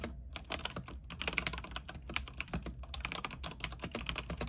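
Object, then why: Mechanical keyboard with plastic keycaps on a metal frame. Both hands type with their fingertips on an RGB mechanical keyboard with white plastic keycaps on an aluminium frame. A steady run of rapid, crisp clacks has bright tops and a low thock beneath, and each keystroke dies away almost at once. A faint low rumble sits underneath.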